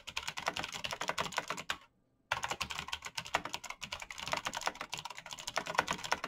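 Fingertips type quickly on a black plastic mechanical keyboard with backlit keys, making a dense run of sharp, bright key taps with very little low end. The tapping stops for a brief silent gap just before the two-second mark, then resumes at the same fast pace to the end.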